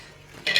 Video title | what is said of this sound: एक कप रव्या पासून कुरकुरीत आणि चटपटीत रेसिपी समोसा कचोरी विसरून जाल 😋👌 | किती कुरकुरीत झालेत आणि कसा क्रंची असा आवाज येतोय